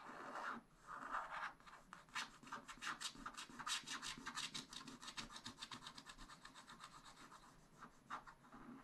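A wooden stylus scrapes across a black wax-coated scratch-art sheet in a spiral-bound pad. Quick, dry scratching strokes follow one another in an irregular rhythm, each a short bright rasp with little low end. Early strokes are longer, smoother rubs, and later ones become rapid, tightly packed scritches.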